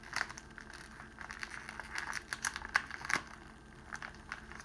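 A clear cellophane wrapping sheet, rolled into a tube and held in the hands, is pleated and crinkled at its end by the fingers. The result is a steady, dry crinkling with scattered sharp crackles and snaps, bright and papery, centered in the upper midrange with almost no low end.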